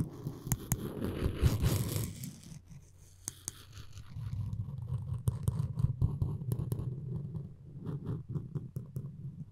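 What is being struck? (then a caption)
Wooden spoon handle with string. Floss string is drawn around and across a solid wooden spoon handle, producing a dense, low scratching rub for the first two seconds. After a brief quieter pause, slower scraping strokes return with sharp, bright clicks scattered through them.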